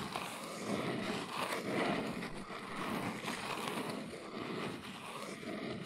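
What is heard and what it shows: Long nails trace and scratch across the printed front face of a small brown cardboard box standing upright. The result is a continuous, dry, papery rasp with a bright hiss that rises and falls in steady strokes with no separate taps.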